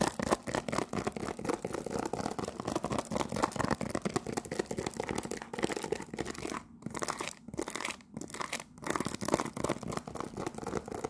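A cellophane-wrapped cardboard tea box, held in both hands, is scratched with long nails. A dense, continuous crinkly scratching and crackling fills the clip, centered in the mids, with a few brief gaps in the later part before the rapid scratching resumes.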